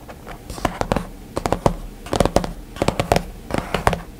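Fingertips of both hands tap and drum rapidly on the hard glass screen of a white iPad lying flat with its dark screen off. About sixteen short, dry clicks arrive in irregular quick bursts, each with a mid-pitched knock that dies away almost instantly.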